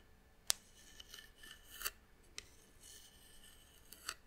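Long nails scratch and tap across the carved surface of a small, hollow, hand-carved brown wooden box held in the hand. Quiet, bright, dry scratching runs throughout, broken by several sharp ticking taps that stop instantly with no ring.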